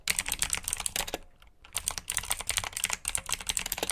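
Fingertips with short nails type on a full-size black plastic mechanical keyboard with RGB backlit keycaps, clicky blue switches and hollow key housings. Rapid, bright clicky keystrokes run in a dense stream, then pause briefly before resuming.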